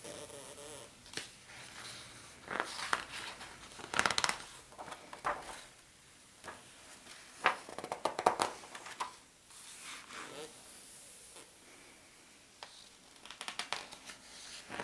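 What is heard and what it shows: Fingertips and palms rub across the glossy paper pages of a large open atlas spread on its Australia maps, and pages are turned by hand. Soft, steady brushing hiss is broken by louder crisp rustles and papery flaps as pages lift and fall, with quieter stretches of light sliding between them.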